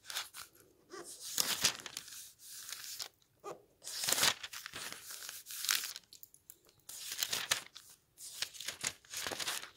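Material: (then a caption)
Paper. An open paperback book with dense printed paper pages rests on a wooden table as fingers quickly flick and turn its pages. The result is bursts of bright, papery fluttering and crinkling, separated by short quiet gaps, with almost no low end.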